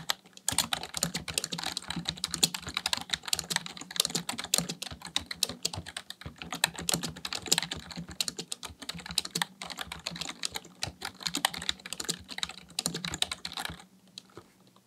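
Fingertips type steadily on a full-size black plastic computer keyboard, producing a rapid, continuous stream of short, bright, crisp key clicks. A faint low hum runs underneath. The typing goes on for about 14 seconds, then stops, leaving only the quiet background.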